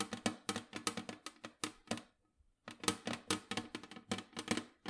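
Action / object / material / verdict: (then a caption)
tap / round metal cookie tin with lid / metal / none. Long nails tap rapidly on the lid of a large, round, printed metal cookie tin that is hollow with its lid on. About 23 sharp, bright taps with a brief metallic ring land in quick bursts, with a short silent pause in the middle before the tapping resumes.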